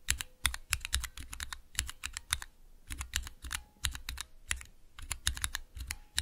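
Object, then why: Plastic mechanical keyboard switches in a small tester. Fingertips with long nails rapidly press and tap the keys of a small 3x3 switch tester, with clear plastic keycaps on Cherry MX switches set in a clear plastic base resting on dark velvet. The result is a quick, uneven run of sharp, bright plastic clacks, each with a low thock underneath, dying away almost instantly between bursts of fast typing.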